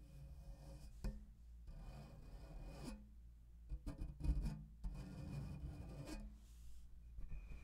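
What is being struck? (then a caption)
Metal mesh microphone grille. Fingertips and nails of both hands rub and scratch the metal mesh grille of a black condenser microphone. The result is a close, rumbling, low-heavy rasp in uneven bursts, with a few sharper bumps standing out over the continuous scratching.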